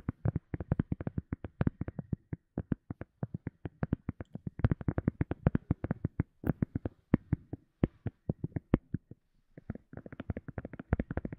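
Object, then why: Silicone cup lid. A silicone cup lid is tapped in a quick, uneven series of short, dry taps, mostly soft and low with a muted thump. The taps pause briefly near the end, then resume in a faster, lighter flurry, each one dying away almost instantly with no voice heard.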